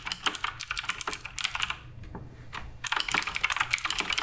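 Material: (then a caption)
Plastic. Fingertips of both hands type rapidly on the plastic keycaps of a full-size black RGB-backlit Redragon K588 Broadsword mechanical keyboard with a wrist rest, sitting on a wooden desk. The result is quick, bright, sharp key-switch clicks with almost no ring, in two bursts separated by a brief pause near the middle.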